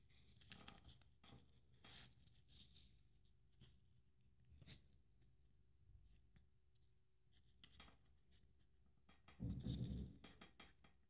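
A hand-held, light, hollow-looking blue glitter-covered Christmas ball ornament wrapped with strings of silver beads is scratched and tapped with long nails. Soft, low scratching and rustling is broken by quick, dry taps with bright edges. A louder burst of rough scraping comes near the end.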